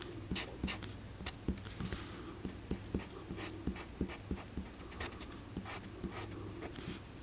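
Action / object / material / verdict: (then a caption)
scrape / felt-tip marker on paper card / paper / none. A black Sharpie felt-tip marker draws lines in short strokes across a small, thin white paper card lying flat on a green cutting mat. About 13 quick scratchy rubs stand out over a steady low hum, each with a soft, brief bright hiss.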